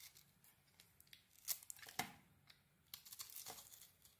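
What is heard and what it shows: A metal blade carves thick curls off a hand-sized, solid gold-glitter cream bar of soap, making quiet, dry, bright scraping and tearing strokes in an uneven rhythm. The louder cuts stand out as sharp, brief rasps, with no lingering ring between them.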